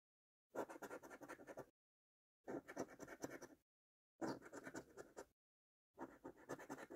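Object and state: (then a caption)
Scratch card being scratched with a coin. A coin held by the fingertips scratches the latex coating off a thin, flat cardboard £2 National Lottery "5x £100 Multiplier" scratch card lying on a dark surface. Four separate bursts of dry, rasping scratching, each about a second long, are divided by short silences.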